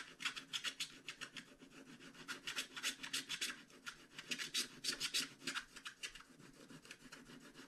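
A hand-held wooden stylus scratches the dragon wing area on a flat scratch-art card page. Quick, bright, rasping strokes repeat about three times per second in an uneven rhythm, each one dry and short with almost no low end.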